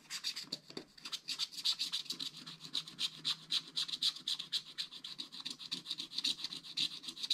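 A pointed wooden stylus scratches the black coating off a scratch art page in a small spiral pad lying flat on a table, while one hand holds the page in place. Quick, dry, raspy strokes repeat at about four per second in an uneven rhythm, each one bright and hissy with almost no low end and no ring.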